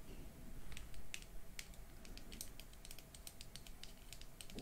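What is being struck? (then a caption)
Small hard plastic lipstick case. A small black bullet lipstick case, likely hard plastic and hollow with lipstick inside, is held in both hands and tapped with long manicured nails. The result is quick, light, irregular clicking taps over a soft low rumble. Near the end the cap is opened.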